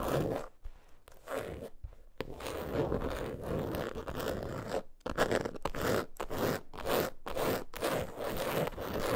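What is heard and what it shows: Long acrylic nails rapidly scratch and tap the front of a closed, long, flat, logo-print coated canvas zip wallet lying on fur. The result is a dense, dry scratching rasp centered in the midrange, broken by brief silent gaps and quick taps, at an uneven pace of roughly two strokes per second.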